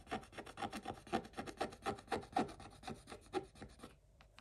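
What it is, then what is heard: Scratch-off coated paper page. A wooden stick scratches the coating of a scratch-off coated paper page, with a hand partly covering the page. It makes rapid, uneven rasping strokes, about four per second, with a faint tone near 740 Hz. The scratching stops just before the end, leaving near silence.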